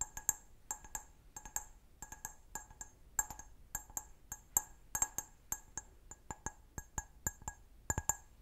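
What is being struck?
Stemmed wine glass.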